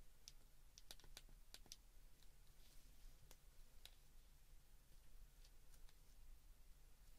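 Fingertips and thumbs press the keypad buttons of a white plastic flip phone, making quiet, sharp clicks with a bright tick near 3.8 kHz. The clicks come in quick clusters early on and then more sparsely. Each dies away almost at once over a steady low hum.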